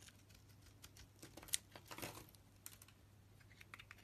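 A utility blade shaves curls off a solid pink soap bar with a purple outer layer. Quiet, bright, crisp scraping and crackling ticks come in quick bursts, with a sharper snap near the middle and a soft low hum underneath.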